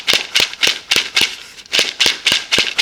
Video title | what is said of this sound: These Gourds will KEEP MOSQUITOS AWAY NATURALLY! | you'll hear this gourd as I shake it, like a maraca